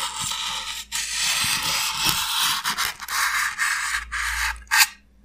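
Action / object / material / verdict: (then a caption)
scrape / expanded polystyrene block / polystyrene foam / none. Fingernails scratch and pick at the rough broken surface of a solid, hand-held white expanded polystyrene (styrofoam) block. The result is a dry, bright, hissy scraping with almost no low end, running in long continuous strokes broken by a few brief pauses. It ends with a short sharp burst, then silence.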